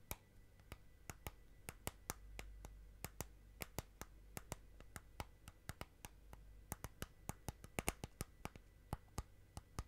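Long nails tap and click along the outer side wall of a small clear plastic tub holding green slime. There are 39 quick, dry clicks with a bright edge and no ring, spaced irregularly over a faint low hum. The result is a soft, crisp tapping rhythm.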